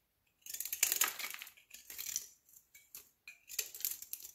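A large solid olive-green soap block held in the palm has its surface shaved into slivers with a utility knife blade. Quick bursts of bright, dry scraping and crisp crackling come in short runs separated by brief pauses, with almost no low end and very little ring.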